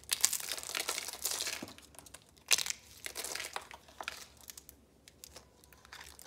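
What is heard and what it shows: Small red rose shapes made of thin, dry, rolled soap curls, arranged on yellow paper, are pulled apart and crushed with fingertips and nails. Dense, bright, crisp crinkling and crunching comes in bursts, with a sharp crackle partway through. It then thins out into softer, scattered crackles.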